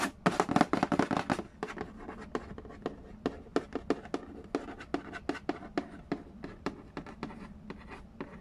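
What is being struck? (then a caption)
Cardboard board game box. Fingertips and nails trace and tap the lid of a medium, hollow cardboard Yahtzee board game box resting on a wooden floor. A dense burst of scratchy tapping in the first second and a half gives way to a string of short, dry, hollow taps at an uneven pace, each dying out almost instantly with no ring.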